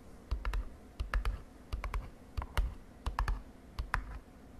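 Long nails tap a small printed glossy cardboard cosmetic box, which is then picked up and held. Quick, light tapping clicks come in short, irregular clusters, each tap a dull low knock with a bright tick on top that dies away almost at once. Soft handling rustle fills the gaps between clusters.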